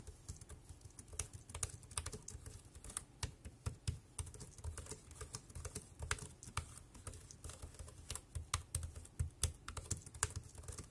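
Fingertips type quickly across the keys of a dark grey compact plastic wireless keyboard, producing a steady stream of rapid, sharp key taps. Each click is short and bright, with almost no ring, and sits over a low, steady rumble.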